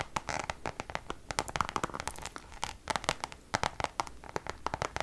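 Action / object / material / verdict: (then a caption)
scrape / coated canvas zip pouch / coated canvas / none. Long nails tap and scratch the face of a Louis Vuitton Damier checkered coated canvas zip pouch. The result is a quick, uneven run of sharp, dry clicks with a papery, scratchy rasp between them, each hit dying away almost at once, with a faint midrange tone around 1.2 kHz.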